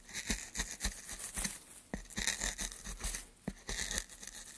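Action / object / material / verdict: scrape / pine wood board / pine wood / none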